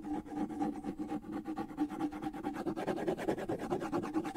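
Fingertips scratch the skin head and wooden shell of a small hollow wooden bongo drum held in one hand. Quick, uneven scratchy strokes repeat steadily, each one briefly bringing out the drum's hollow, mid-pitched ring around 330 Hz. The strokes grow slightly busier and louder toward the end.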